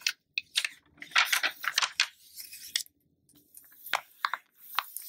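Fingertips with long nails rub, smooth and turn the thin glossy paper pages of an open Essence magazine lying flat on a dark surface. Bright, crisp rustles and papery swishes come in quick bursts, mixed with short sharp nail clicks and brief silent pauses between the movements.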